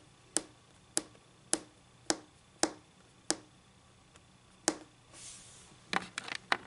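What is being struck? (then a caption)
Laminate-covered tabletop. Long glossy pink acrylic nail tips tap a flat, solid white laminate tabletop with a faint textured surface, one hand at a time. Seven clean, bright ticks land at a slow, steady pace, each dying away almost instantly. A soft brushing swish follows, then a quick flurry of lighter clicking taps.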